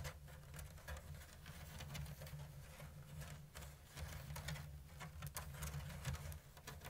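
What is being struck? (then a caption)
Woven bamboo lattice basket. Long blue nails tap and scratch the thin bamboo strips of a round, hollow woven bamboo lattice basket with an open diamond weave. Soft, patter-like taps and scratchy rustles come in a steady slow-to-medium stream, with quick bright clicks over a low, muffled hum.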